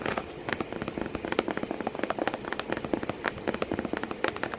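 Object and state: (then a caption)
Cardboard box tapped. Long painted nails and fingertips tap rapidly on the side of a hollow corrugated cardboard box with crumpled kraft paper inside and a cat sitting in it. The result is a quick, uneven patter of short, dry clicks and soft hollow knocks with a mid-pitched body that die away almost instantly.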